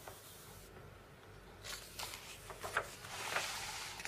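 Fingertips and red-painted nails rub and scratch over the printed pictures of watches and drones in an open catalogue magazine with non-glossy paper pages, lying on a wooden table. A quiet, soft papery rubbing builds into brighter, louder rustling as a page is turned partway through, followed by several short, crisp scratches.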